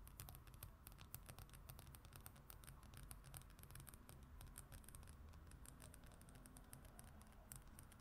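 Long acrylic nails on both hands scratch and tap the glossy printed paper cover of a travel brochure or magazine lying flat on a wooden surface. A quiet, steady patter of rapid, bright clicks and scratches runs throughout over a low, constant rumble.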